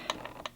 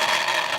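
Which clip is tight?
The second.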